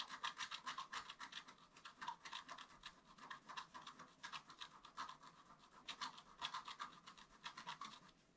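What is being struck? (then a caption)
Black-coated scratch art paper scratched with a wooden stylus. A wooden stylus scratches a flat, black-coated scratch art paper card in dense, short strokes. Quick, uneven bursts of dry, raspy scratching sit mostly in the mid-to-high range with a bright, hissy edge and almost no low end. Each stroke dies away almost at once, and the scratching thins out and fades in the last moment.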